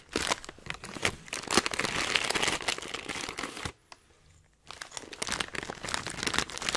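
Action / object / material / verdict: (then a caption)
shake / metallized plastic foil snack bag / plastic foil / none. A filled Hot Nuts snack bag made of metallized plastic foil is held upright in one hand and squeezed and crinkled by the fingers. Dense, bright crinkling and crackling runs continuously, breaks off into near silence for just under a second around the middle, then starts up again.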